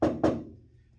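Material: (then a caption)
Steel. Two taps on a bare steel floor panel of a 1955 Chevy truck, before any sound deadener is applied. Each tap gives a ringing, hollow knock with a mid-range tone that fades over the following half second rather than a dull thud.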